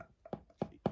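Three short, dull knocks on the hard cardboard box of a Friday the 13th deluxe Blu-ray set, each dying away almost instantly with a low, solid thud. The box is tapped to show it is rigid and sturdy, unlike a flimsy box.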